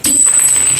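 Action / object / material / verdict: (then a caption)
tap / forged aluminium piston / forged aluminium / hard. A new, unused Daytona forged aluminium competition piston for a Jupiter 130cc road-race engine build is tapped, giving a bright, high, steady ring that sustains for over half a second. The steel-like tone marks it as a hard, high-quality forged piston.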